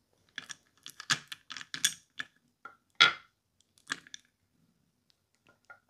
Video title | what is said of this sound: Dice Soup ASMR 🎲🍲🤌 Yummy Crunchy Fizzy Sounds (minimal talking, wooden soup, dnd dice) | dice soup is very clacky